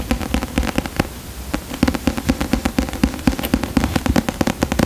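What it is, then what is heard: Paperback book. Fingertips and nails tap and scratch the paper cover of a solid paperback book held and tilted close to the microphone. A quick, irregular run of short, dry taps with a soft low body and almost no ring is heard, mixed with faint papery scratching. The tapping briefly thins out just after the first second before picking back up.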